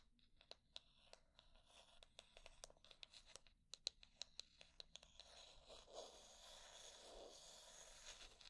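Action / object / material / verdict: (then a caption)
tap / wooden hair brush / wood / none. Long nails tap and scratch the wooden back and edge of a solid wooden hair brush held sideways. For about five seconds they make a quick, uneven run of sharp, bright clicks, about 23 in all. Then the sound becomes a soft, steady, hissy scratching.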